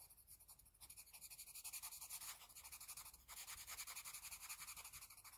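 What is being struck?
Graphite pencil on paper sheet.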